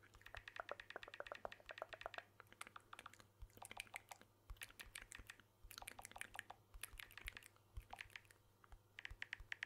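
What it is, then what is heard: Smartphone tapped with fingertips. Fingertips tap the edge and back of a blue smartphone with a glass back and aluminium frame, held in one hand. Quick, soft, bright clicks come in dense bursts with brief pauses, each dying out instantly, over a faint steady low hum.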